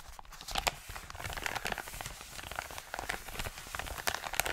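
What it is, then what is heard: Paper mailer envelope. An Amazon kraft-paper padded mailer is rubbed with the palm and fingers, then lifted and crinkled. A steady, dry rustling and scratching fills the clip, broken by sharp, bright crackles and crunchy crinkles with no ring after each one.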